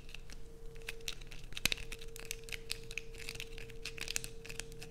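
A solid blue bar of soap held in the hands is aggressively scratched with long nails, giving a dense run of quick, bright, crackly scrapes. A steady low hum runs underneath, and one sharper, louder click stands out just before the two-second mark.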